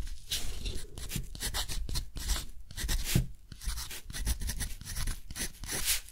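A metal dip-pen nib scratches across a large sheet of thick, rough-textured cotton paper lying flat and held down by the other hand while a quote is written. Short, dry scratchy strokes follow one another in a steady rhythm, each a bright, papery rasp over a soft low rumble.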